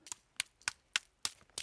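Two clods of black orchard soil are knocked together, giving six sharp, dry clicks with a stone-like, gravelly ring. The soil has become hard and compacted, so hard that squeezing a clod pricks the hand.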